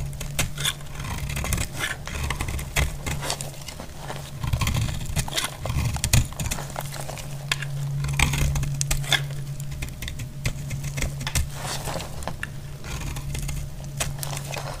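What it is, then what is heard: Dry bar soap being cut. A solid, dry green soap bar is cut and shaved with a utility blade, giving repeated crisp scraping and crackling strokes with bright, gritty edges. A steady low hum runs underneath throughout.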